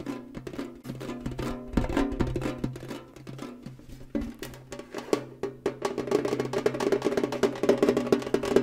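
A tall, rectangular, hollow printed metal cereal tin is held upright and tapped quickly with fingernails and fingertips. The result is a rapid, uneven stream of short, dry clicks and hollow metallic knocks with a faint ringing tone, growing busier and louder toward the end.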